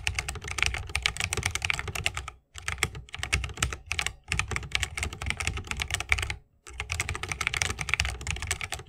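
Both hands type steadily with the fingertips on a 60% mechanical keyboard with a bamboo case, plastic keycaps and Holy Panda switches. Rapid, crisp clacks with a bright top and a low thock underneath come in dense runs, broken by two brief pauses. Each keystroke dies away almost instantly.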